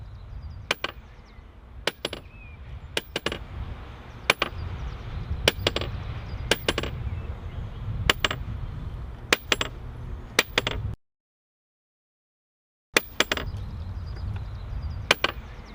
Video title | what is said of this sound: VOIE - Recherche de fissure et examen par ressuage | le marteau ne rebondit pas comme il faut et on entend un bruit sourd